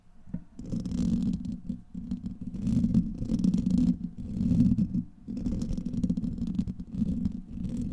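Fingernails of both hands scratch across the hollow, rounded steel wire-mesh head of a large condenser microphone. The result is a dense, continuous low rumbling scrape with bursts of fine high crackle, swelling and easing in waves over eight seconds.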